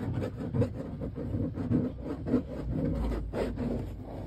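Fingernails scratch and rub grey woven mesh car seat fabric stretched over foam padding. The result is a run of dry, muffled rasping strokes, mostly low and mid in tone, with a few sharper scratches standing out over a steady rubbing texture.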